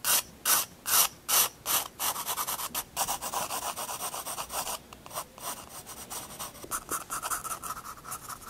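A graphite pencil draws lines and figures on a paper sketchbook page. Five slow, separate scratchy strokes open the clip, then give way to a quick run of short, rapid rubbing strokes. The sound is dry and bright, sitting mostly in the high range with almost no low end.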